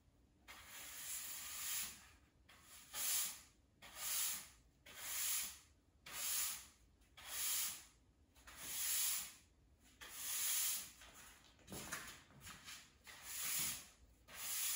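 A plastic-bristle broom sweeps along the wall of a large, solid, bare cement floor in an empty room, with the sweeper standing in flip-flops. About ten separate strokes are heard, each a bright, hissing scrape as the bristles drag over the rough concrete, with short quiet gaps between them.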